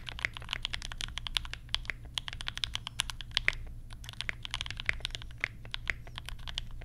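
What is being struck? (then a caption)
Mechanical keyboard with plastic keycaps. Both hands type with their fingertips on a compact mechanical keyboard fitted with Banana Splits switches and pastel plastic keycaps. The result is a steady, rapid stream of bright, crisp clacks, each dying away almost instantly, over a faint, constant low hum.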